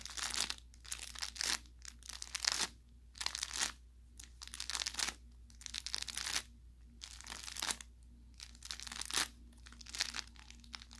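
An orange velour plush carrot cat toy with crinkle filling is squeezed with the fingers while its fabric tag is handled. Repeated bursts of bright, crackly crinkling rise and fall with short quiet gaps between them, over a faint steady low hum.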